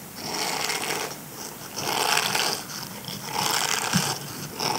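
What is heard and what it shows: Fingertips and nails scratch and rub the dense bristles of a small, flat, grey silicone dish scrubber held in the hand; the scrubber is solid and flexible. The sound is a bright, crackly scratching that rises and falls in repeated swells, with quieter pauses between strokes.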